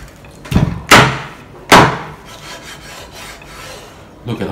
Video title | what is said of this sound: 简易版 脆皮烧肉 - 肯定成功 - 酥脆 美味多汁 - 气炸锅食谱 | Listen to how crispy it is.